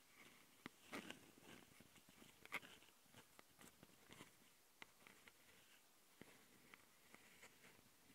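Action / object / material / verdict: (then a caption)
scrape / plastic handheld audio recorder / plastic / none. Long nails on both hands scratch the mic capsules and top panel of a handheld plastic Tascam audio recorder. Bright, dry scratching and rasping sits over a soft steady hiss, with about a dozen sharp clicks and taps at irregular intervals.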